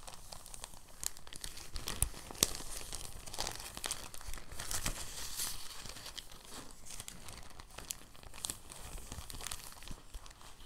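A clear, thin plastic bag is unfolded and then rolled between the fingertips. It makes soft, irregular crinkling and crackling with a bright, hissy edge and a few sharper snaps near the start, continuing at a low, steady level throughout.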